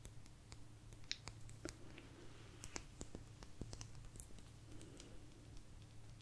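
A small, thin, solid blue agate slice is tapped and scratched with long nails. Many sharp, bright clicks and short ticks come in an irregular run, each dying away almost at once, with faint scratching between them. A steady low hum sits underneath throughout.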